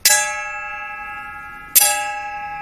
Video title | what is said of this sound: Brass Vs Bronze Utensils- पीतल और कांसे के बर्तनों के फायदे- How to Buy Pure Brass & Bronze Utensils | जो गूंज है वो ब्रास के अंदर कम आती है, जबकि कांसे के अंदर वो लंबी गूंज आती है